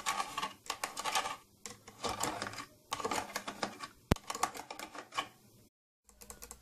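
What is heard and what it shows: Long green-grey painted nails tap and scratch on the domed top and front of an old, closed, hollow, glossy purple plastic tattoo kit case. Quick clusters of light, dry clicks with almost no ring give a bright, typing-like patter, with one sharper tap around the middle. A brief silence comes before the tapping resumes at the end.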